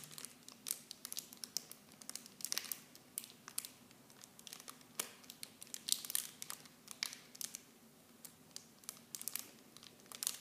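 A small clear plastic film bag holding blue plastic mini shampoo bottles is turned in both hands while fingertips and long painted nails squeeze and crinkle it. The result is a steady stream of quiet, bright, crisp crackles with frequent sharp snaps and almost no low end.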